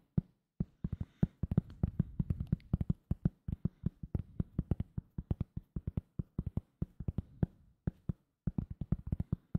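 A thin, solid round cork coaster is tapped with fingertips close to the microphone. It makes a fast, uneven stream of dozens of soft, dull thuds, pitched low around 156 Hz, with almost no high end. Each tap dies away almost instantly, with a few short pauses between bursts.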